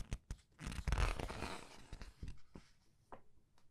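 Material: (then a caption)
Glossy paper. Glossy paper pages of a large art book are flipped and rubbed by fingers. A few soft low taps lead into a broad, hissing rustle as a page sweeps over, followed by scattered quieter crinkles and brushes of paper.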